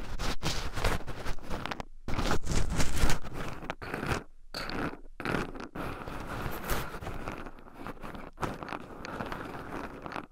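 Two wooden chopsticks stir and poke through a small wooden bowl heaped with raw shelled pine nuts, rubbing the nuts against two black microphones buried in the pile. The result is a dense, continuous stream of close, crunchy rustling and scratching with low-heavy body and brief pauses between strokes.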